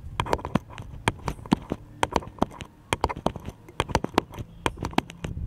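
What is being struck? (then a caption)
Small wooden paddle. A small, light, solid wooden paddle-shaped piece is held upright and tapped with the fingertips. About 25 quick, irregular taps sound as short, dry knocks with a mid-range wooden tone and almost no ring.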